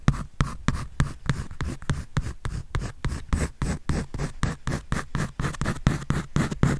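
A pencil scratches and draws across a white paper sketch pad held by hand. Quick, uneven strokes come in a steady stream of short, dry scrapes, each a brief broadband burst with a soft, low-weighted body and a faint papery hiss on top.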